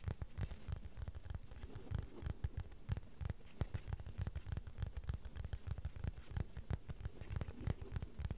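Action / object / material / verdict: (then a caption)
tap / plastic board / plastic / none. Gentle, rhythmic tapping on a plastic board produces a fast, somewhat uneven stream of soft, dull taps. Each tap is low and thuddy, with almost no ring after it.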